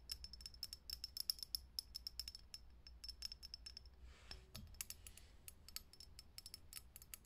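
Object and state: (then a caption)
Glass filament light bulb. Long fingernails tap fast on the thin, hollow clear glass globe of a lit vintage Edison-style filament bulb mounted in a socket. The result is a quiet stream of sharp, high, glassy clicks that stop dead with no ring, in an uneven rhythm. Around the middle, a brief soft hiss and a faint low thump break the tapping before it resumes.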